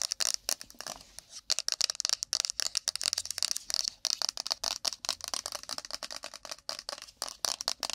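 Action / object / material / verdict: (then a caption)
tap / small rigid cardboard phone box / cardboard / none. A small, empty, hollow rigid cardboard iPhone box with a glossy printed picture is held in the hands and tapped and scratched fast with long pointed acrylic nails across its face and edges. It gives a rapid run of dry, bright clicks and scratchy rasps with no ring and almost no low end, packed close together in quick irregular bursts.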